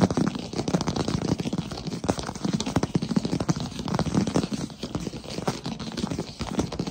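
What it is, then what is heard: Wooden plank floor. Fingertips tap rapidly on the surface of a large solid wood-plank floor. A dense, continuous patter of short, dull thuds sits mostly in the low range around 200 Hz, with little brightness and almost no ring after each tap.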